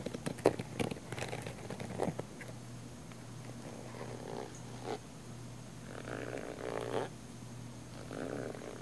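Long nails scratch a small black padded nylon fabric camera case, with one hand briefly lifting away at the end. Soft, rasping scratches come in uneven bursts, sharper at first and then smoother, over a steady low hum.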